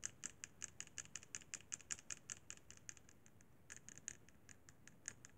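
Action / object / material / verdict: tap / plastic handheld game console / plastic / none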